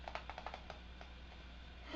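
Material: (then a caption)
Plastic. A Rimmel shake mascara tube is shaken, and the mixing ball inside rattles against the formula. This gives a quick series of light, sharp clicks in the first three-quarters of a second, then fainter rattles over a steady low hum.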